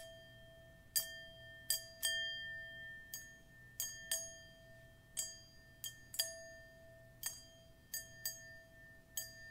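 A hollow, empty dark metal singing bowl resting on a cushion is held in one hand and tapped on its rim and side by long metal nail claws. Each tap gives a quick bright click over steady ringing tones that hum on beneath the irregular taps. About thirteen taps are heard.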